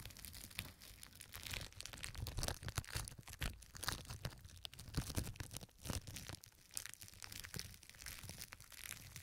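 Crumpled pink plastic film covering both ears of a 3Dio Pro II microphone is scratched and pressed by two hands with long red nails. The result is a dense, continuous crinkling and crackling with bright, sharp snaps over a heavy low rumble, swelling and easing with each press.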